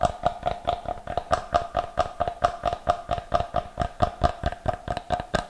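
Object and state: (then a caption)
Solid wooden block. Fingernails tap and scratch the face of a solid block of unfinished light wood held close to the mic. About 26 quick, dry taps follow in a fast, slightly uneven rhythm, each with a short woody tone near 700 Hz, and light scratching fills the gaps between them.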